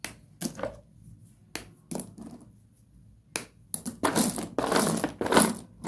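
A hand digs into and crushes a pile of small, solid broken slate pencil fragments in a box. Sharp, bright, gritty crunches come in separate bursts at first. They then grow louder and run together into dense, continuous crumbling toward the end.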